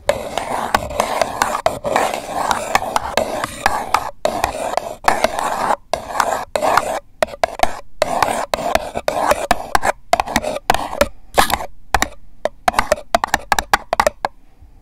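Long acrylic nails scratch and tap the wall of a single empty, hollow purple paper cup held sideways by the microphone. The result is a dense run of dry, papery scratching with quick crisp taps and short pauses, centered in the midrange and dying away almost instantly.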